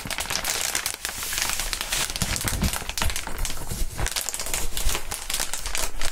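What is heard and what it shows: Gloved hands hold up a sheet of clear, inflated plastic air column cushion wrap and crinkle it close to the microphones. A dense, continuous crinkling fills the clip, with sharp crackles and bright, papery rustles over a low rumble of handling.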